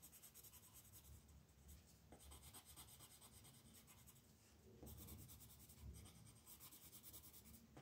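A red colored pencil shades letters on a flat paper coloring book page lying on a table, using short rubbing strokes while the other hand, with long nails, rests on the page. The soft, steady scratching comes in rhythmic bursts of bright, papery hiss over a low rumble, growing a little louder near the end.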